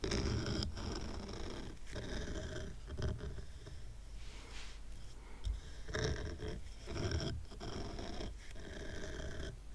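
Fingernails scratch and tap the rough raw-wood underside of a stack of square wooden coasters tied with twine. The result is a steady, quiet, low-heavy rasping with short dry taps and little ring.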